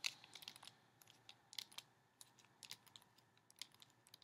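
Fingertips at the edges tap the solid, flat, laminated glossy cardboard cover of a large hardcover "The Polar Express" picture book held in both hands. About eighteen quiet, dry, bright clicks come in an irregular run, each dying away almost instantly with almost no low end.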